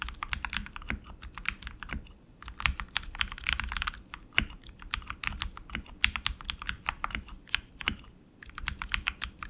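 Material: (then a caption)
Plastic, aluminum. Both hands type continuously with their fingertips on a tenkeyless RGB mechanical keyboard with tactile switches and plastic keycaps on an aluminum frame. The result is a fast run of short, bright, clacky keystrokes with no ring. A few deeper, heavier thocks stand out, and there are brief lulls near 2.3 and 8.5 seconds.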